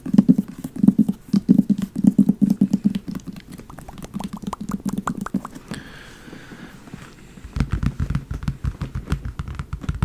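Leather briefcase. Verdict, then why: Empty. Fast tapping on a large, empty leather briefcase, both on the front and the back. Quick, low, hollow taps sit around 200 Hz in dense uneven bursts, with a brief quieter stretch before a final flurry.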